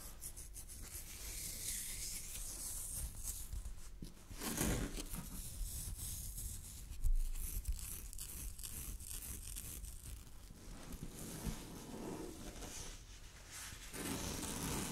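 Long fingernails scratch and rub a loosely draped piece of thin, sheer purple chiffon fabric. A soft, continuous rustling scratch with a bright hiss runs throughout, rising in short louder bursts around five and seven seconds before settling back to a steady, quiet texture.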